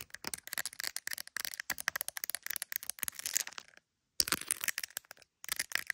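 An iPhone in a clear plastic case decorated with gummy bears is tapped and scratched on its back by long acrylic nails. Rapid, dense clicking taps and scratchy rasps are heard, bright and high with no low end. They come in quick bursts separated by two short silences.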